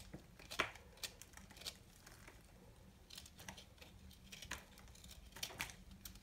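A solid, dry ball of bar soap held in the hand is shaved with a small knife, producing crumbly flakes. Quiet, crisp, bright scraping and crunching strokes come in short bursts, some sharper and louder than others, over a faint steady low hum.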